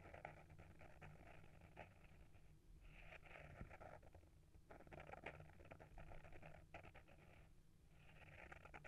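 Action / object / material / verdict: scrape / small hardcover book with paper-wrapped board cover / paper, board / none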